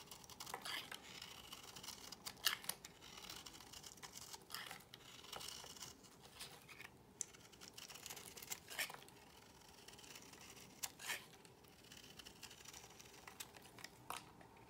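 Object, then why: Soap bar shaved with a small metal blade. A small metal blade shaves curls off the face of a palm-sized, solid pale cream bar of soap held in the hand, the shavings piling up on a white surface. The repeated scraping cuts give quiet, bright, crisp scratches with short rasping bursts and almost no low end.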